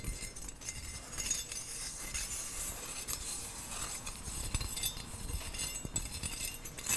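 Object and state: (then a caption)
Stainless steel skimmer spoon. Long nails tap and scratch across the holes of a perforated stainless steel skimmer spoon with a thin round bowl. The result is a steady run of bright metallic clinks and scrapes, each ringing only briefly, over a low rumble.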